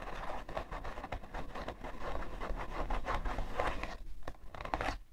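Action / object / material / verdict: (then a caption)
scrape / cardboard tissue box / cardboard / none. Long nails scratch the side panel of a hollow, printed cardboard tissue box. A steady run of quick, dry scratching strokes rasps across the surface. The strokes come in a dense, papery stream with short hollow resonance behind them.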